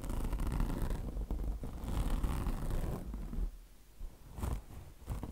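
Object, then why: Mesh-covered microfiber car wash sponge. Long blue nails scratch the mesh top of a mesh-covered microfiber car wash sponge, making a rough, scraping rasp with a low rumbling body. The scratching runs in quick, uneven bursts, fading quieter partway through before picking up again.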